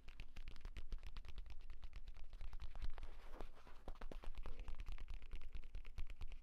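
Fingertips and short nails rapidly tap and scratch the cover of a purple leather tablet folio case lying flat. Quick, dense taps with short, dull, low thuds mix with brief bright scratching strokes in a steady, busy rhythm throughout.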